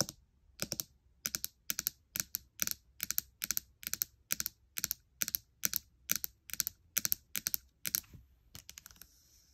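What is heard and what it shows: Fingertips and long nails tap and click rapidly on the trackpad and keys of a gold MacBook Air. The sharp, bright clicks come in quick clustered bursts with very little low end, and the final bursts are quieter.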